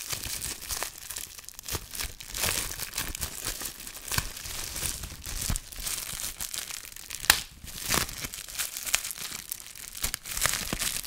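Fingertips squeeze, crinkle and pop a small piece of clear plastic bubble wrap with yellow tape and hollow air bubbles, held close to the microphone. A steady, bright crinkling and crackling runs throughout, broken by sharp, brief snaps as bubbles burst.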